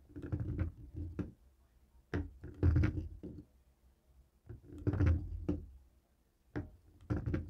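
A jade roller head taps and rolls over the buttons of a dark grey plastic cable TV remote lying on a wooden table. Dull, low clicks and soft rattling rolls come in irregular bursts separated by quiet pauses, each sound fading quickly.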